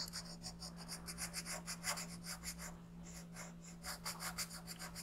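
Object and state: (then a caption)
Colored pencil on paper. A yellow colored pencil outlines a thin printed paper coloring sheet resting on a gray board, making about 13 quick back-and-forth rubbing strokes. Each stroke gives a soft, bright, scratchy rasp, heard over a steady low hum.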